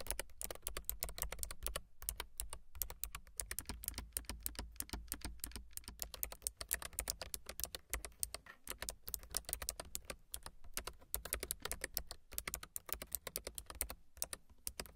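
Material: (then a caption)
Plastic. Long silver nails type rapidly on a low-profile plastic mechanical keyboard with white and gray plastic keycaps. A dense, steady stream of short, bright clicks and taps sits over a soft low thump, with only a few brief pauses. Each keystroke dies away almost at once.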